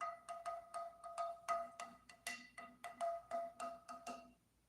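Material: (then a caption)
Wood. A piece of guitar tonewood picked for a builder's next guitar is tapped repeatedly, giving a quick, uneven run of bright, pitched knocks that sound almost like a xylophone. Each tap rings a clear tone near 680 Hz with higher overtones before decaying quickly. The wood is judged highly resonant.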